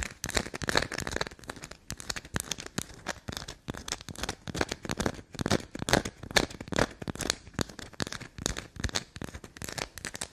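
A carved solid black soap bar held in the hand is scratched along its grooves and scraped with long black nails. The result is a fast, irregular run of short, dry, crackling scratches and taps with bright, crinkly texture and very little ring.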